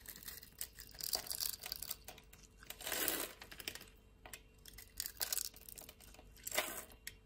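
A utility blade with a green handle scrapes cubes and flakes off the top of a hand-sized, solid purple soap bar held in the palm and scored in a grid. Bright, crisp, crumbly scraping and crackling comes in several bursts, with quieter crinkling between them and little low end.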